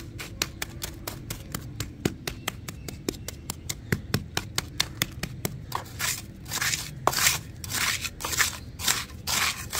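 A round metal spatula scrapes and digs through a crumbly, damp sand-cement mix in a blue bucket. For the first six seconds it makes rapid, sharp, gritty crunches and clicks. After that come longer, brighter scraping bursts as it drags through the granular mass.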